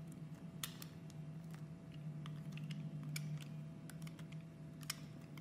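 A utility knife blade scrapes and cuts a solid pink and brown soap, molded like a segmented chocolate bar and held by fingers with red nails, into squares. Quiet, crisp clicks and short scratchy ticks come in scattered bursts over a steady low hum.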